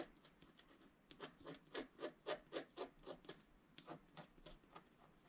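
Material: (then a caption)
Wax-coated paper. A wooden stylus scratches the upper right area of a flat scratch-art sheet of black wax-coated paper while the other hand rests on the sheet. About fifteen short, dry rasping strokes come in a fairly steady rhythm, with a midrange scraping tone and a bright hiss, and they build louder in the middle before easing off. The overall level is quiet.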